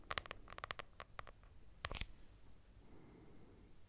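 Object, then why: Cloth-covered hardcover notebook. Long nails scratch across a lilac hardcover notebook with a textured cloth cover and a solid paper block. A quick series of short, bright, scratchy strokes comes first, then a louder pair near the two-second mark, and the sound fades into a faint, soft rustle.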